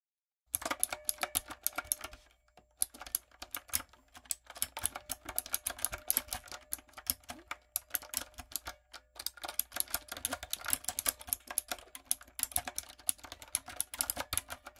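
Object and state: Mechanical keyboard with plastic keycaps.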